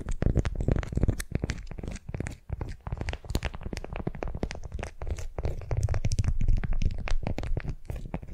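A candy-shaped, beeswax-coated cotton wrap around a wooden sphere is held in both hands and gripped and twisted with long nails. It makes a dense, irregular run of sticky crinkles, crackles and scratches, heavy in low rumbling tones with brief bright ticks.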